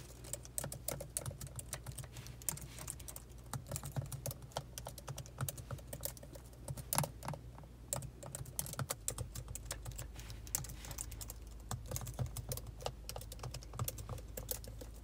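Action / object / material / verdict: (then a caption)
tap / plastic laptop keyboard keys / plastic / none. Long, pointed acrylic nails and fingertips type continuously on the black plastic keys of a silver laptop, producing a fast, irregular stream of sharp, bright clicks and taps with an added echo effect. A steady low hum sits underneath and grows louder about two-thirds of the way through.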